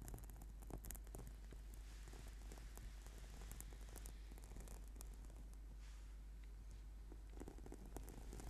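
Fingertips and nails of both hands scratch and tap the textured surface of a flat purple sticky yoga mat, a solid sheet of rubber/PVC foam. The result is a quiet, steady, rain-like scratchy rustle with soft, brief ticks and taps over a constant low hum.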